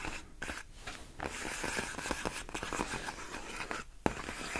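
Long nails scratch and press against large, clear, inflated plastic air-column cushion wrap made of hollow air-filled tubes. Dense, crinkly scraping and squeaky rubbing fill the clip, broken by a few brief pauses. A sharp tap lands near the end.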